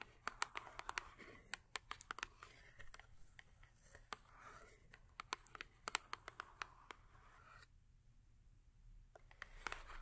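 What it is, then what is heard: Cardboard soap box. Long acrylic nails rapidly tap and scratch the top of a small cardboard Yardley soap box that is full with a bar of soap. About 30 sharp, bright clicks stand out over a soft, papery scratching hiss centered near 1.4 kHz. A brief near-silent pause comes around eight seconds before the tapping resumes.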